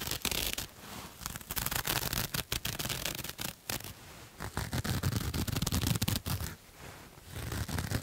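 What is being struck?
Ribbed cotton knit fabric.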